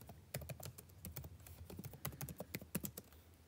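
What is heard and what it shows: Fingertips type continuously on the blue-backlit plastic keycaps of a dark laptop keyboard. Quick, soft clicks follow one another in a steady, uneven stream, each a short low thud with a brief bright tick and almost no ring. The overall level stays quiet.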